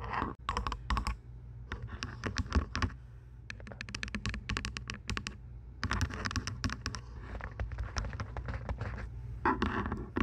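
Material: Plastic.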